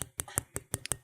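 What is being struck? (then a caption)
Whole ostrich egg, shell. A whole raw ostrich egg is tapped on its shell, giving seven quick, sharp clicks with a hard, glass-like brightness. Each tap dies away almost at once over a low background murmur.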